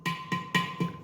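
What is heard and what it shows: Knocking on last year's red clay water pot (matka) to check whether it is cement or clay gives four clear, ringing knocks with a steady tone near 1 kHz and a short decay. The clear sound shows the pot is made entirely of clay, not cement.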